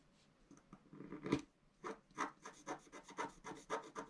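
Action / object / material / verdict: scrape / scratch-art paper sheet scratched with a wooden stylus / coated paper / none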